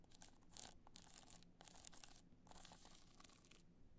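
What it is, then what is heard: Rhinestone-studded hard-shell clutch. Long nails scratch rapidly across the studs of a black multicolor rhinestone hard-shell clutch as it is held upright and then tilted. The result is a quiet, dense run of bright, crackly scratching bursts with brief pauses between strokes, over a faint steady low hum.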